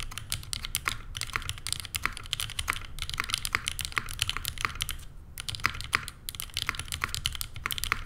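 A Neo87 tenkeyless mechanical keyboard by CherryB Works, with JWK Lilac switches, a rose-gold aluminum case and cream and grey plastic keycaps, sits on a desk mat while both hands type continuously, long painted nails pressing the keys. A steady run of short, bright, clacky keystrokes rings around 2 kHz over a low rumble, pausing briefly near the five-second mark before resuming.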